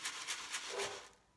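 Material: Nothing is struck.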